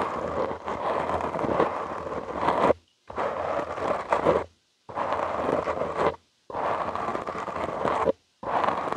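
Short nails and fingertips scratch a soft, porous black foam windscreen on a studio microphone. The result is dense, close-up scratchy rustling, strongest in the midrange, heard in five bursts separated by brief silences.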